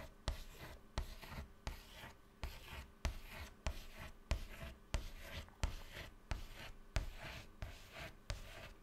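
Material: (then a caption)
Chalk. A hand holds white chalk and draws rows of small circles on a flat black chalkboard panel, making repeated scratching strokes. Thirteen sharp taps of the chalk striking the board stand out, each followed by a soft, dry, hissy scratch, with most of the energy in low thumps and a faint bright rasp above.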